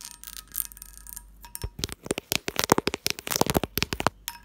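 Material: Glass.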